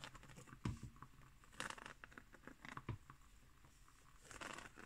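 A round, flat, coiled woven straw placemat lies on a wooden table while long nails scratch along its weave. The result is a quiet, dry scratching and crinkling patter made of many short strokes, with a few louder thumps.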